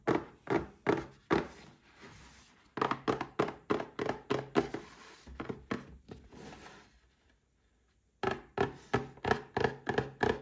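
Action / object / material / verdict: tap / small cardboard box with a glass inside / cardboard / none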